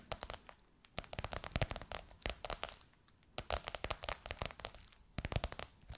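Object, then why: Embossed faux leather pillowcase over a soft pillow. Long white nails tap and scratch across a gold crocodile-embossed faux leather pillowcase over a soft pillow. They make rapid, dry, crinkly taps and rustling scratches that die away almost at once. The sound comes in two dense bursts separated by a brief quiet pause.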